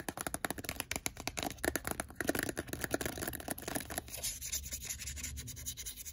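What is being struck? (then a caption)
Plastic handheld game console. A blue Nintendo DSi XL handheld console with a plastic shell and screen is held open in the hand while fingertips and nails tap and rub its screen and casing. Quick, dry plastic taps come in a dense, uneven stream for about four seconds. They then give way to a softer, brighter scratchy rubbing with lighter taps.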